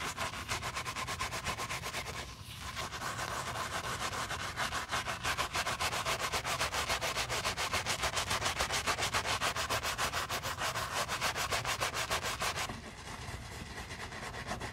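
A wooden-handled bristle brush scrubs the heel, side and eyelet area of a Miu Miu white leather sneaker with a foamy lather, while a gloved hand steadies the shoe. The strokes are fast, steady, back-and-forth rasps with a bright, hissing bristle texture over the hollow body of the shoe. They pause briefly near the start and soften toward the end.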